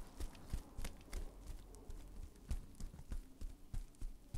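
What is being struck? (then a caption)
Plastic bubble wrap. Hands wrapped in clear plastic bubble wrap are held on either side of a microphone while the fingers squeeze and pop the bubbles. The result is a quick, irregular series of short, dull thumping pops with bright crackles between them, over a soft rustle of the plastic.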